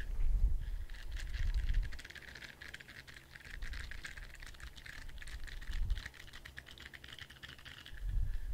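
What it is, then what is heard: Rubber spiky ball. Fingertips and nails tap and scratch the spikes of a hand-sized orange spiky rubber squishy ball. Rapid, soft, dry clicks and scratchy patter run throughout, with a bright crinkly edge. Low, dull thuds swell in at the start, near the middle and at the end.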